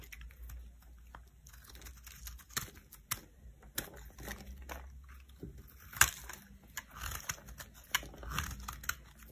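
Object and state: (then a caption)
Bar of soap cut into crunchy flakes. A metal knife cuts crunchy flakes from the edge of a solid cream soap block. Sharp, bright crackling snaps and dry crunching scrapes come in irregular bursts over a low steady hum. The strongest snaps fall around six and eight seconds.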